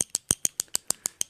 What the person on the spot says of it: it has a little ball in there you hear it